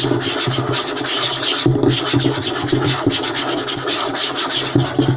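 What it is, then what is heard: Light wooden tabletop. Short fingernails of both hands scratch fast across a flat, light wooden tabletop, making a continuous dry, rasping scrape with a few louder bursts throughout.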